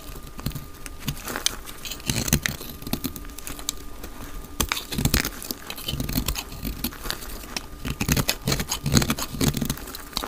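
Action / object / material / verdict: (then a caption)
scrape / bar of soap cut with a blade / soap / none. A solid, palm-sized dry white soap bar is held in the hand and shaved with a utility knife blade, sending flakes falling. The sound is a dense run of short, dry, crackly scraping and cutting strokes with a bright edge, growing louder in bursts around the middle and toward the end. A faint steady tone runs underneath.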